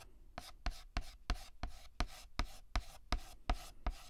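White chalk held in the fingertips writes letters on a flat, solid black chalkboard, making a run of 11 short scratching, tapping strokes at an uneven pace. Each stroke gives a sharp tap with a brief bright scrape over a low thud, and it dies away almost at once.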